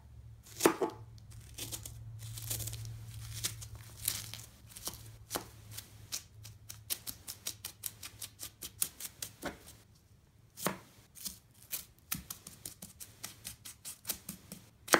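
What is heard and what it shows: A serrated knife rapidly chops a pile of crumbled green floral foam chunks on a wooden deck. A quick series of sharp, dry, crunchy cuts with bright crackle is heard over a faint low hum. The chopping pauses briefly, then resumes in an even rhythm.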